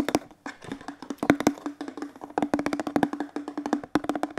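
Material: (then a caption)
Plastic. A hollow teal plastic detergent bottle is tapped with fingertips and moved quickly in the hands. Rapid, dry, clicky taps ring with a short hollow tone around 285 Hz, some louder and sharper than others, each fading almost at once.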